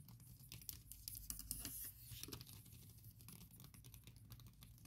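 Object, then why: Silicone keyboard cover on laptop keyboard. Long nails tap quickly across the keys of a MacBook Pro covered with a thin printed silicone keyboard skin. The result is a rapid, soft, muffled pattering of bright clicks over a low rumble, louder in the first two seconds and then settling into a quieter, steady tapping.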